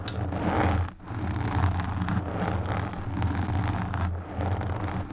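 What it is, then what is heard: Foam microphone windscreen being scratched. Long nails scratch the black foam windscreen of a desktop microphone, making a continuous close, muffled rustling and scraping with a heavy low rumble and almost no bright content. The scratching runs steadily throughout, dipping briefly just before the 1-second mark and again around 4 seconds before resuming.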